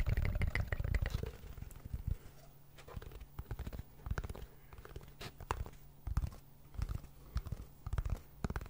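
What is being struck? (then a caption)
Cardboard tube. A hollow brown cardboard tube about 25 cm long is held in both hands in front of the microphone and scratched and rubbed along its surface with fingertips and nails. A dense burst of boomy, low scratching opens the clip, then gives way to scattered short scrapes and taps over a faint steady low hum. Most of the sound sits deep in the low end, with the tube's hollow body giving the strokes a dull, resonant thump.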